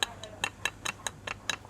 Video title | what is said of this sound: The History and Secrets of Thailand's Legendary Crispy Pork | it sounds like it should be hard as a rock